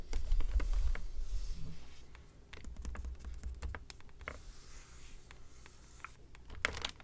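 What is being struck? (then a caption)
Plastic VHS clamshell case with clear sleeve. A Little Mermaid VHS plastic clamshell case is held in both hands while its back cover, which has a clear plastic sleeve, is tapped and crinkled with fingertips and nails. Quick, irregular, dry clicks and soft crinkles come over a low, muffled handling rumble. The taps are short and bright-edged and fade almost instantly.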